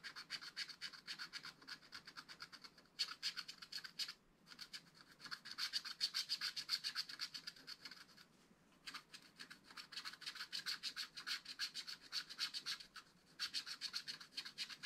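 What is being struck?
Scratch-art card scraped with a wooden stylus.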